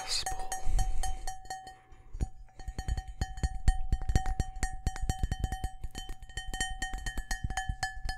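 Fingertips and nails tap quickly on the patterned outer wall of a large, empty, hollow cut-glass crystal bowl held in both hands. The rapid, uneven taps land as dull low knocks, with a steady bell-like glass ring sustaining behind them and bright overtones above.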